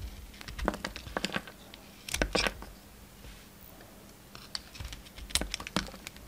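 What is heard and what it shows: A pink utility knife blade shaves and cuts a solid, round, ribbed soap bar with a red coating and pink inside, held in the hand. Quick, crisp ticking scrapes and snaps come in clustered bursts with quiet pauses between them. Each cut is bright, dry and stops almost instantly.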